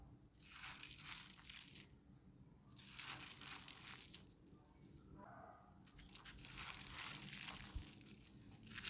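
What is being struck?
Chunk of grey cement-dirt.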